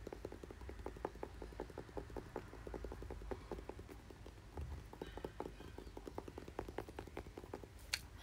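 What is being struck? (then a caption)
Plastic paddle hairbrush back. Fingers tap and scratch the smooth plastic back of a red plastic paddle hairbrush held up close. Quick, dry taps repeat steadily with almost no ring, mixed with soft scratching and a faint bright edge over a low, steady rumble.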